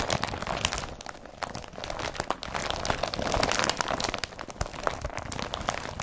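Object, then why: Woven polypropylene carrier bag. Fingernails scratch the weave of an empty blue woven polypropylene IKEA BRATTBY carrier bag, then a hand grips and crumples it. The result is a dense run of close, bright crinkles and sharp crackles over a soft scratchy hiss, with quick snaps that die away almost at once.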